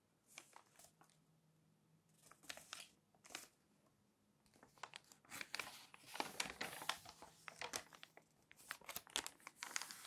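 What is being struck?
Glossy coated-paper magazine pages.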